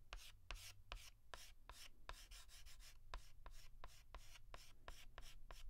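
A white chalk stick is rubbed in short, rapid hatching strokes across a large flat blackboard to fill in a letter. Each stroke gives a dry, bright scratch, with sharp clicks as the chalk meets the board. A steady low hum runs underneath.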